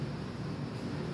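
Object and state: Nothing is struck.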